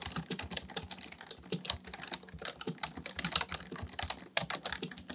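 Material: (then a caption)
Plastic. Fingertips of both hands type continuously on a black plastic full-size membrane keyboard (Dell KB1421) with a hollow housing, resting on a desk. The keys are pressed and tapped in a rapid, steady stream of short, bright clicks, each with a dull low thump underneath, dying away almost instantly.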